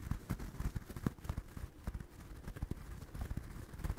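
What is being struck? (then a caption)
Stuffed crocheted yarn toy. Fingertips and nails scratch and tap the yarn surface of a small, soft, stuffed orange crocheted doll held close to the microphone. The result is a quiet stream of dull, muffled taps and soft rustling scratches, mostly low in tone with almost no brightness. Each touch stops dry with no ring.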